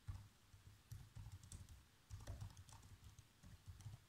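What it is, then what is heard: Plastic laptop keyboard. Fingertips with short nails type fast across the keys of a black plastic chiclet laptop keyboard. The result is a quiet, rapid run of soft taps, mostly low dull thumps with faint bright clicks on top, coming in short bursts.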